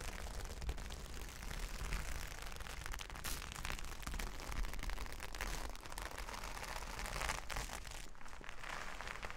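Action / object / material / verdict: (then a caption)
scrape / plastic sequin fabric / plastic / none. Fingertips and long nails rub and scratch across a large flat sheet of reversible plastic sequin fabric. The result is a steady, dense crinkling and scratching with rapid bright clicks over a heavy low rumble, holding an even level throughout.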